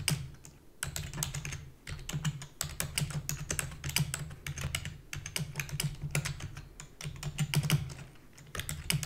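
Fingertips with long natural nails press the keys of a black full-size plastic computer keyboard with hollow key housing in rapid typing. Quick, bright clacks stream out in uneven bursts over a steady low hollow hum, with only brief pauses between runs.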